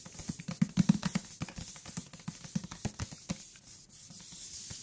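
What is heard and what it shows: Fingertips tap on the cover and along the edges of a thick paper book, making soft, dull, low thuds in an uneven, fairly quick pattern. The taps are short and muffled, with faint soft music underneath. The top and bottom edges sound different despite having the same thickness and material.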